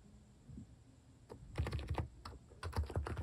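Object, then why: Plastic mechanical keyboard keycaps. A compact plastic mechanical keyboard with plastic cat keycaps is typed on with sparse fingertip keystrokes. Ten short, deep, muffled clacks come in irregular bursts, some closely doubled, each with a faint bright click on top.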